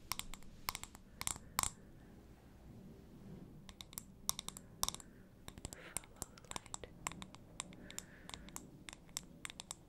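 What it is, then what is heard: Glass candle jar. A wide glass jar candle with several lit wicks and a solid wax fill is tapped and scratched with the fingernails in quick clicks. Sharp, bright, dry clicks come in irregular bursts with almost no ring, over a low, soft rumbling bed and faint scratching between the taps.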